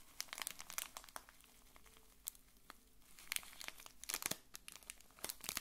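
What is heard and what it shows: A small bar-shaped pack wrapped in blue printed plastic film is held in both hands and squeezed and crinkled with the fingers. It gives quiet, bright, crackly crinkling in irregular bursts of sharp snaps, with calmer stretches between them.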